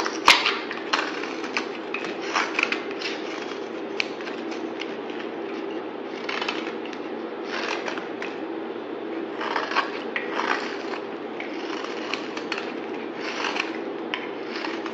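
A solid yellow bar soap with purple glitter, held in the hand, is shaved with a utility knife blade. Repeated scraping strokes produce crisp, crackly bursts of bright noise over a steady low-mid hum.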